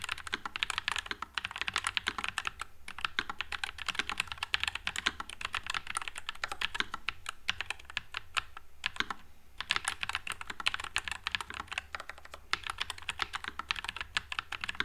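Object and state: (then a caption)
Mechanical keyboard with plastic keycaps. Fingertips type continuously on a white low-profile NuPhy Air96 mechanical keyboard with Wisteria switches and plastic keycaps. The result is a dense, steady stream of short, crisp, bright clacks that die away almost instantly, with a faint low hum underneath.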